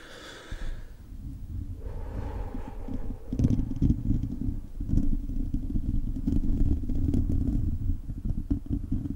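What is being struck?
Metal mesh microphone grille.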